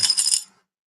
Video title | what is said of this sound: 1000 SUB MONEY JAR RD. 2 10 GUESSES ONLY | there was a little bit of change down in the center I'm shaking it up shake it up a little bit now so you can hear it